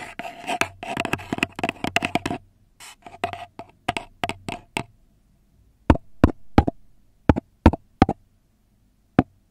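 A long red nail taps and knocks on the flat bottom of an empty brown kraft paper cup held upside down. A fast, dense flurry of hollow, papery taps with a faint ringing tone slows into scattered clusters. After a short pause come sharper, louder, isolated knocks that stop dead, the last one arriving alone after a gap.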